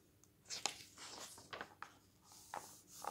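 Fingers flip the pages of a glossy paper magazine lying on a wooden table, and a hand rubs them flat. Quiet, bright papery swishes and soft rubbing are broken by six sharp crisp snaps as the pages turn, with almost no low end.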